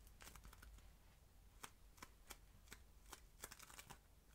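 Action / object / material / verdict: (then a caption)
scrape / ball of polystyrene-bead modelling foam / polystyrene foam / none. A palm-sized solid ball of red, crunchy polystyrene-bead modelling foam is kneaded, squeezed and rubbed between the fingertips of both hands, while a small red foam heart lies untouched nearby. Quiet, dry crackles and short, bright crunching clicks pop out irregularly over a faint low hum. Each crunch stops almost instantly, with no ring.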